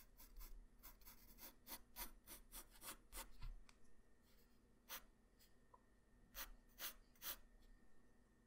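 A graphite pencil tip draws guideline strokes across a flat white paper sheet, making short, bright scratching sounds over a low, steady hum. The strokes come in an irregular run for the first few seconds, then thin out into a few separate scratches.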